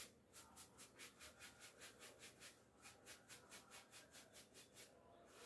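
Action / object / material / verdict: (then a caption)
scrape / cotton twill coat brushed with a bristle clothes brush / cotton twill / none. A handheld bristle clothes brush with a wooden back is rubbed down the front of a navy cotton-look twill coat hanging on a door, held by a hand, to remove hairs from the fabric. About twenty quick, evenly paced, bright scratchy brush strokes swish across the soft cloth, with a brief pause midway.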